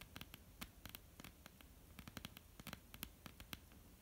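Long polished nails of both hands tap and scratch across a flat, solid, dark wooden tabletop, making 19 quick, dry clicks that stop almost at once. Each tap is a sharp, bright click over a low, soft thud, with faint scratchy rustling and a quiet hum between the hits.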